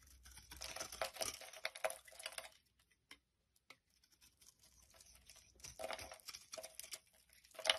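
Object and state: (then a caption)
Soap bar being carved. A utility knife blade shaves flakes off the surface of a solid light-green rectangular soap bar held in the palm. Quiet, bright, crinkly scraping comes in two stretches of carving, separated by a near-silent pause with only a few faint ticks. A final sharper scrape closes the clip.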